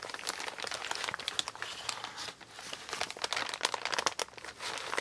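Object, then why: Kraft paper mailer bag. Both hands rub, smooth and crinkle a large, empty, brown kraft-paper Amazon mailer bag made of recycled paper, lying flat and crumpled on a table, using fingertips and nails. Dense, bright crinkling and scratchy rustles come in quick bursts with brief softer lulls. There is almost no low end.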